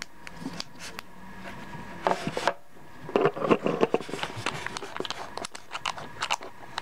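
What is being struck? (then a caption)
Small glass perfume bottle with metal screw cap. Fingertips twist a cylindrical metal screw cap on and off the threaded neck of a small, hollow, dark glass skull-shaped perfume bottle. The result is a gritty grinding and rasping with bright clicks and short clacks. Louder bursts come around the two-second mark and between three and four seconds.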